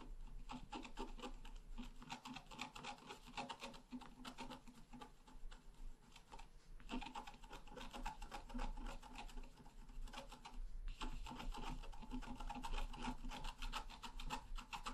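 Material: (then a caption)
Coated paper. A wooden stylus scratches a flower into the right side of a flat, black-coated scratch art paper card. Quick, irregular rasping strokes run almost continuously over a steady low hum, with brief pauses near 7 and 11 seconds.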